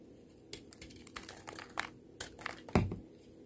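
A small yellow-handled knife scrapes and shaves thin curls off a solid, hand-sized pink bar of soap held in one hand, over a tray of soap shavings. Repeated short, dry scraping strokes crackle and crinkle across a broad band. A louder, low-heavy scrape comes near the end before the sound fades to quiet.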